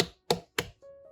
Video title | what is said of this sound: Just Look At These Points To Pick Fresh, Juicy Watermelons!-Great Tips | 正确的方法用手掌支撑甜瓜的一侧然后用另一只手敲击另一侧